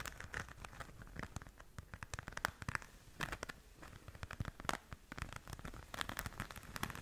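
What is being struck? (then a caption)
Glitter-covered fabric zip pouch. Long nails scratch the surface of a flat pink glitter-covered zip pouch held in both hands. A dense run of quick, crackly scratches and crinkly ticks fills the clip, each stroke dry and short with no ring. The texture stays quiet and steady, with brighter sparkling bursts scattered throughout.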